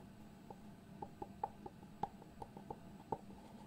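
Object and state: Cardboard box with lid.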